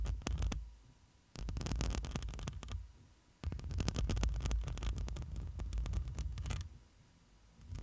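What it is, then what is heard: Metal mesh microphone grille being scratched. Long nails scratch the metal mesh grille of a black microphone, first with two hands and then with one. The sound is close, dense, boomy low rumbling and rustling, with bright crackly scrapes. It comes in long bursts separated by brief quiet pauses.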